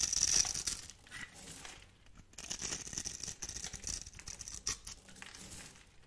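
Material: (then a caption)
Soap. A metal blade carves and scrapes crunchy cubes off a solid, hand-held, pink-and-white striped bar of dry soap. The result is a dense run of dry, bright crackling and scraping, loudest at the start and in bursts near the middle and the end, with almost no low end.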